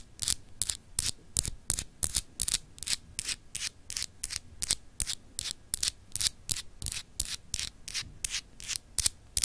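Long acrylic nails rub and scratch across a small, solid, clear glass globe paperweight with an etched texture. About 30 quick, bright, dry scratching strokes repeat at a steady but slightly uneven pace, each a short high hiss with no ring, over a faint low rumble.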